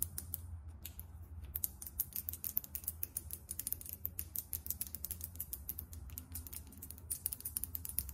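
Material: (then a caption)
Glass. Long nails rapidly tap and scratch a small glass foundation bottle filled with beige liquid and topped with a champagne cap. The result is a quick, dense stream of sharp, bright clicks and light scratches that die away instantly, over a steady low hum.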